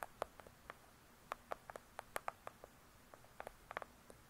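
Long pointed acrylic nails on both hands tap and scratch the front cover of a large hardcover "True Crime" book, lying flat and solid with its pages inside, its cover glossy paper over cardboard. The result is a quiet, irregular string of short, dry, clicky taps with a mid-range knock and bright edges, each dying away almost instantly over a faint background hiss.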